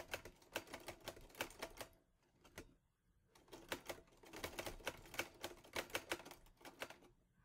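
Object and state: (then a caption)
Metal portable typewriter. Fingertips type on the keys of a teal metal Olivetti Lettera 22 portable typewriter, producing bursts of sharp, bright clacks that stop almost instantly. A quick run of keystrokes is followed by a short pause with a couple of isolated strikes, then another steady flurry of typing.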